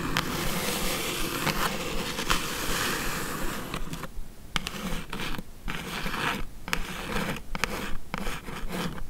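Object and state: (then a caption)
Cardboard shipping box. Long acrylic nails hold the edges of a closed, hollow, medium-size brown corrugated cardboard mailer box, then tap and scratch its lid. A steady, dense, bright scratching fills the first few seconds, then breaks into shorter, separate scratches and taps with brief quiet gaps between them.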